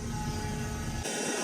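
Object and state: Nothing is struck.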